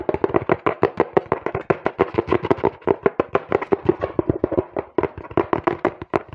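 A small, hollow, apparently empty brown cardboard box is held in both hands while fingertips and nails tap and knock rapidly on its sides. The result is a fast, uneven stream of short, dry, hollow knocks with a papery body centered around 400 Hz and very little ring.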